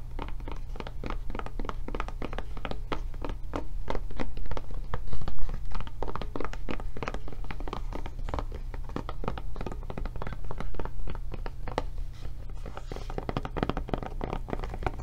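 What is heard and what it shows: Long nails tap and scratch on the flap and back of a blue silicone rubber tablet case. Soft, dull, quickly damped taps come in a brisk, uneven patter of about four per second, mixed with faint scratching. A steady low rumble runs underneath throughout.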